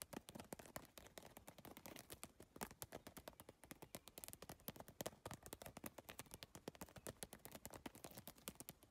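Long nails tap fast across the iridescent triangular tiles of a holographic geometric PVC tile bag. The result is a dense, rapid stream of short, crisp plastic clicks with bright tops, continuing steadily throughout with uneven loudness.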